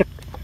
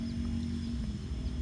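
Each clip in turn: First: unripe watermelon. Second: ripe watermelon.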